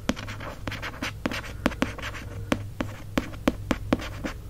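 Fingertips and short nails trace and scratch the embossed gold lettering on the cloth-bound cover of a mint green hardcover book held in one hand. Soft, dry scratching and rustling fill the clip, broken by sharp, quick taps that stop almost instantly, over a faint steady low hum.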